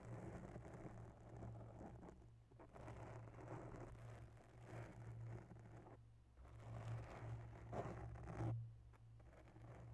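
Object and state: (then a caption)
Foam microphone windscreen being scratched. Long natural nails lightly scratch and tap both sides of a grey foam microphone windscreen with a fine porous surface. The result is a soft, continuous, scratchy rustling over a steady low hum, with brief quieter pauses and a slightly louder swell near the end.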